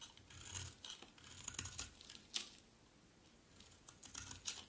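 A utility knife blade carves and scrapes a solid, white, dry, palm-sized bar of soap, producing flaky shavings. Quiet, bright, crisp scraping and cutting strokes come in short bursts, with one sharper snap near the middle and a faint low rumble underneath.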